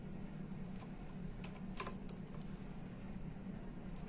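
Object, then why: Plastic computer keyboard. Both hands type with their fingertips on the hollow plastic keys of a full-size black-and-silver plastic computer keyboard resting on a desk. Quiet, scattered key clicks with bright tops sit over a steady low hum, with one slightly sharper tap near the middle.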